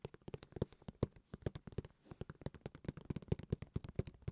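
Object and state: Hard plastic game console case.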